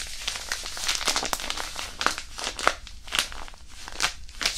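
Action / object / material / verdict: scrape / disposable hand warmer pouch with iron powder / fabric pouch / none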